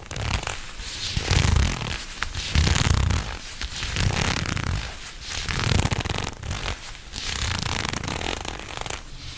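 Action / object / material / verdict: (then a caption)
scrape / leather gloves / leather / none. Shiny black leather gloves on both hands are squeezed into fists and rubbed together quickly, giving rapid creaking and rubbing in swelling bursts over a low thumping rumble with bright crinkly hiss.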